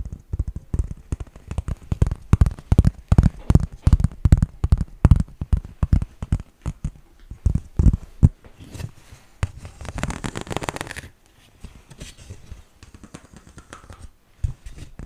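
A flat, hand-sized green studded plastic baseplate is tapped with fingertips and nails, giving a quick run of dull, low, short taps for about eight seconds. Then nails scratch across the studs in a brighter, hissing burst, followed by softer scraping and one last light tap.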